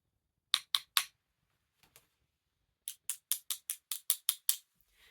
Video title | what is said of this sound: How to identify Bakelite Jewellery - Simple but effective methods everyone can try at home | the sound that you get if you were to tap two other Plastics together